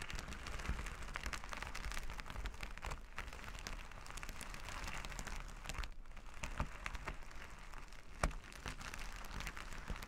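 Flat reversible plastic sequin fabric is rubbed and scratched with plastic finger-massager tools held in both hands. The result is a steady, dense crackling patter like light rain on a surface, over a constant low rumble, with a few sharper clicks standing out near the end.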